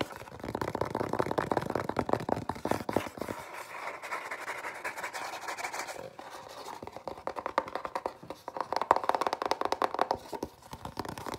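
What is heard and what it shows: Fingertips and nails scratch and tap on a small, hollow, white printed cardboard box. Dense, rapid papery scratching and clicking taps sit mostly in the midrange around 1 kHz. Midway the low body thins out to a lighter scratching before quick tapping bursts return.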